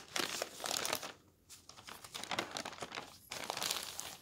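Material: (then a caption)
Paper. A palm rubs across a large paper newspaper sheet, then the hand lifts and turns the page. Dry, bright crinkling and rustling come in dense bursts, with brief quieter gaps between the rubbing and the page turn.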